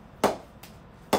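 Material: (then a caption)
Willow. A ball strikes a Spartan David Warner Edition willow cricket bat three times in a ping test, the middle hit much softer than the others. Each strike is a sharp, bright ping with a tone around 395 Hz that rings out quickly. The ball keeps rebounding, and the bat's ping is judged very good.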